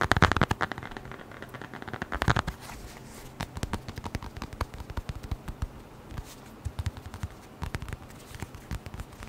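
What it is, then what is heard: Leather notebook cover tapped. A small, closed, flat brown leather-covered notebook or wallet is held in the hands and tapped quickly with the fingertips and nails. Dense bursts of rapid, dull, low-heavy taps come near the start and again around two seconds. These are followed by sparser, quieter, dry clicks and taps that die away almost instantly.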